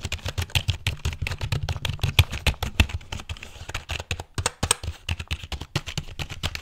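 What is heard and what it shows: Fingertips rapidly tap the keys and body of a full-size, hollow black plastic computer keyboard held vertically or tilted near the microphone. The result is a fast, uneven stream of short clicks, each with a dull, hollow low thump and a bright, crisp top.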